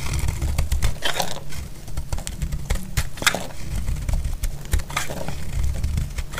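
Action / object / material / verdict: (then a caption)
scrape / bar of soap cut with a metal blade / soap / none. A solid bar of dry red soap, held in the hand, is shaved and cut with a metal utility blade, and flakes break off. The result is a steady run of dry scraping with sharp, bright crackling snaps over a heavy low rumble.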